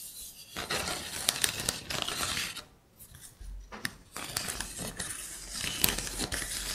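Long painted nails tap and scratch across the surface of a linked-block wooden trivet made of solid wood pieces. The result is bright, dry clicks and raspy scraping with almost no ring. There is a short quiet pause in the middle before the tapping and scratching resume.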